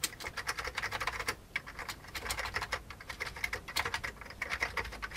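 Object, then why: Plastic computer keyboard. Fingertips of both hands type steadily on a full-size vintage beige plastic computer keyboard. Quick, bright plastic key clicks and clacks come in a dense, uneven patter, each stroke short and dry with a tone around 2 kHz. A brief pause near the middle breaks the flow before typing resumes.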